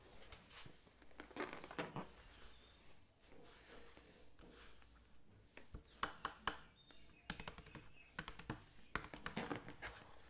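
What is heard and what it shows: A clear PET plastic water bottle with a blue cap, about 1 L and partly filled with water, is held upright and tapped with the fingertips. The result is an irregular run of short, dry taps that die away almost instantly, with a hollow, mid-pitched knock and bright clicky edges. Quiet gaps between bursts separate taps that grow more frequent toward the end.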